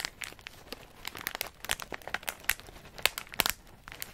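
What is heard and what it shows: A medium plastic snack bag full of in-shell pistachios is held in the hand and squeezed and crinkled by the fingers and thumb. Irregular bright crinkles and crunches with sharp, quick-dying snaps pop through a soft rustle, with nuts shifting inside.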